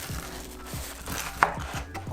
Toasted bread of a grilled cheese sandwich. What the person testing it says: ได้ยินเสียงไหมกรอบมาก